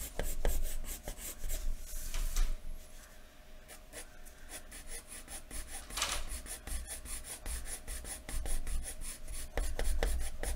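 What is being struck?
Graphite pencil on paper sheet over wooden desk.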